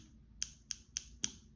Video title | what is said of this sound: Watch Me Work: Acrylic Application | So it should sound like that once your acrylic is drying.